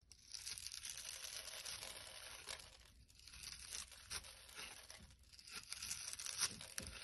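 A blade scrapes a dry, crumbly solid blue bar of soap held in the hand, and crisp blue crumbles fall off. The result is a continuous bright, crackly tearing and scraping sound, mostly high with little low end. It rises and dips in intensity as the strokes continue.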